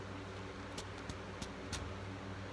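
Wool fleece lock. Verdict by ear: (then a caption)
Broken. A lock of Navajo Churro fleece from the leg area is held by both ends and snapped taut in a thump test of fiber strength. Four faint, brief thumps rise over a steady low hum. The fibers are broken, so the lock snaps and fails the test.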